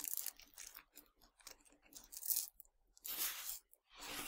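Fingertips with long dark nails pinch, crunch and scratch through a pile of tiny hard Nerds sugar candies on a black surface. Irregular bursts of bright, crisp crackling and gritty rattling follow one another, ending with two longer, louder sweeping scrapes through the candy.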